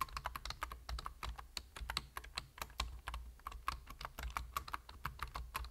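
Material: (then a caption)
Plastic. Fingertips type quickly on a full-size black plastic computer keyboard, producing a dense run of short, dry key taps with a bright click edge and a low steady hum underneath. The individual strokes run together too closely to count reliably, with a brief break in rhythm midway.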